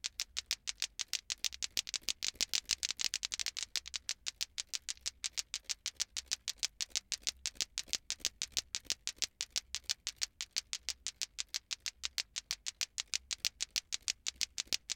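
A hand swings a green glowing toy ball clacker (lato-lato) by its handle, so its two small solid plastic balls on cords clack together as they pass from side to side. About 95 sharp, bright, dry clicks come in a fast, steady rhythm, each one dying out almost instantly.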